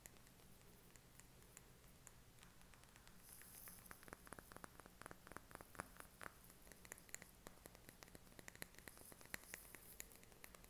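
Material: Glass.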